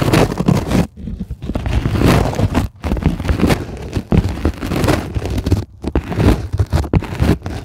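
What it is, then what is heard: Polyethylene foam sheet. Long, glittery acrylic nails on both hands scratch across a flat, solid sheet of white closed-cell polyethylene foam. The result is a dense, steady scraping and rustling texture, mostly low and muffled, with a few brief pauses between scratching passes.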